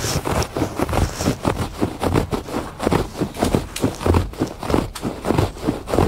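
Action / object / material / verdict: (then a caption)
scrape / woven fabric rug / fabric / none. Fingers scratch back and forth across the pile of a textured woven fabric rug lying on a porch floor. About a dozen dull, rustling strokes come at an uneven pace, each a short soft scrape with a low, muffled body and little brightness.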